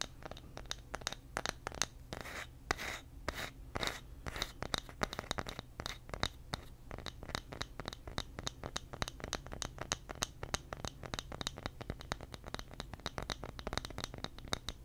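A small, flat, solid round light wooden coaster held in the hand is scratched with fingernails. Rapid, dry scratching strokes rasp one after another for about fifteen seconds, bright and crisp with a steady low hum underneath.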